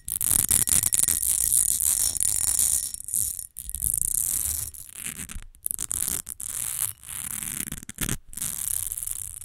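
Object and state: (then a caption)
Glass perfume bottle. Long nails scratch quickly and tap across the sides and face of a rectangular textured glass rose perfume bottle with a fine-lined surface and liquid inside, standing on a fur rug. The result is a dense, bright, crackly scratching with quick taps over a soft low rumble, broken by a few brief pauses.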